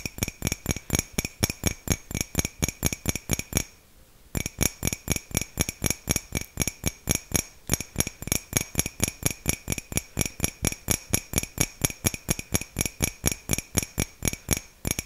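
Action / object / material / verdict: tap / ceramic mug / ceramic / none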